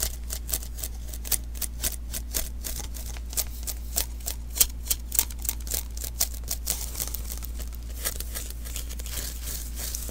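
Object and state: Sticky lint roller refill.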